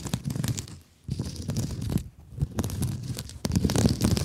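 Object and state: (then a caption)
Mesh scrub sponge scratched and squeezed. Long nails scratch and squeeze a hand-sized blue scrub sponge with a woven mesh cover, making dense, crackly rustling and crunching bursts with a deep, muffled body. Two brief pauses break the texture before the scratching returns, growing louder and busier toward the end.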